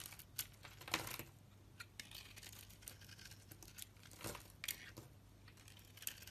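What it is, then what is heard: Bar of soap being shaved. A blade shaves and peels thin curls and chips from a solid rectangular bar of purple-coated pink soap held in the hand. Quiet, bright, crisp scraping strokes and sharp little clicks come in uneven bursts over a faint steady low hum. Each stroke dies away almost at once, with no ring.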